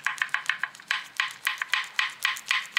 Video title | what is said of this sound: JALAN TAK RATA BUNYI BESI BERLAGA - SEBELUM TUKAR CHECK DULU | dia punya ball join ni memang dah losose habis dah. Inilah punca bunyi tu sebenarnya.